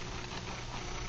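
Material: Nothing is struck.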